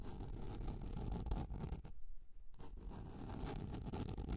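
Long red nails scratch and tap the surface of a large, round, yellow plastic container lid, held upright, that is flat and hollow underneath. The result is a steady, dense, low, rumbling scratch with soft tapping, which drops quieter for about half a second midway before resuming.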